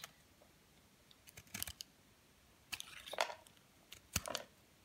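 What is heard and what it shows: A utility knife blade repeatedly shaves and scrapes flakes off a solid, palm-sized, partly carved bar of white Dove soap held in the hand. The sound is short, crisp, bright scraping bursts in scattered clusters with quiet pauses between them, with little low end and almost no ring after each cut.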